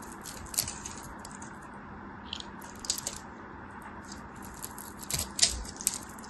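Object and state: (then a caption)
Bar of soap being carved with a knife. A craft knife carves a solid, palm-sized green bar of soap held in the fingers, scoring a grid into the surface and flaking off small cubes. Crisp, bright scraping and cutting crackles come in scattered bursts over a faint, steady low hum, with sharper snaps near the end.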